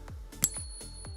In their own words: And this is what real silver sounds like.